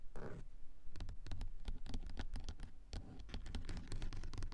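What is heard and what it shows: Long coffin-shaped nails scratch and tap on a car sun visor with a grey textured fabric covering and on its closed plastic mirror cover, with a mini mic taped onto the visor. A quick, uneven patter of short, dry taps mixes with soft scraping, and almost all of the energy sits low, in a dull thudding range.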